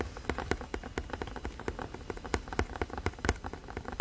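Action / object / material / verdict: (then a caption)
tap / cardboard box / cardboard / none. Fingertips and nails tap rapidly on the surface of a hollow, printed cardboard box held upright against the mic. The short, dry taps fall in a fast, irregular patter, each with a low hollow thump and a light clicky edge that dies away almost instantly, like rain drumming on a surface.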